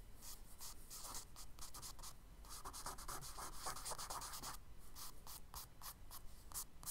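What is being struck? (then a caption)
Charcoal stick on kraft paper sketchbook page. A charcoal stick scratches short grass strokes across the solid surface of a tan kraft paper page in a spiral sketchbook. The result is a quick run of dry, bright, gritty scrapes over a soft, steady low background.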